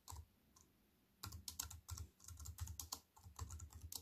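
Fingertips with white-painted nails type on a slim wireless keyboard with black plastic keys in a grey metal-look frame, lying on a wooden table. After a brief pause, a quick, irregular run of taps follows, each pairing a soft low thud with a bright plastic click that dies away at once.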